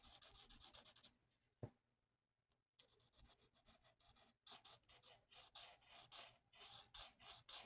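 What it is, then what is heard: Marker coloring on a paper sheet. A felt-tip alcohol marker held in the fingers rubs and scratches across a thin, flat printed paper mandala coloring sheet lying on a table. Bright, hissy back-and-forth strokes pause briefly, broken by a single sharp tap, then resume in a steady run of scratchy strokes.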